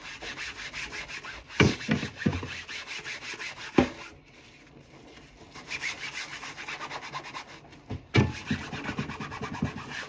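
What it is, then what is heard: Plastic cutting board being scrubbed. A large, flat, solid white plastic cutting board is held tilted over a sink while gloved hands scrub its surface with a soapy sponge; other dishes sit in the sink untouched. Rapid, rhythmic rubbing strokes make a steady swishing scrape, punctuated by a few sharper knocks. The scrubbing pauses briefly in the middle and then resumes.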